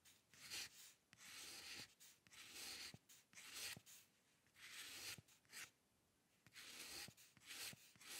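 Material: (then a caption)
Paper. A metal dip pen nib scratches fine lines on the right side of a white paper sheet resting on a dark table. Quiet, bright, dry scratching strokes come in uneven bursts with short pauses between them, with almost no low end.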